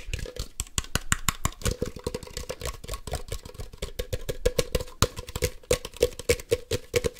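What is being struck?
Hollow plastic toy ball.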